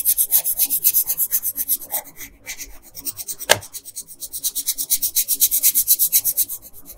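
An orange wooden colored pencil scratches in short, fast strokes across a thin paper coloring sheet lying flat on a table. About thirty bright, dry rasping strokes repeat in quick bursts, with a brief lull just past two seconds and a sharp tap near the middle.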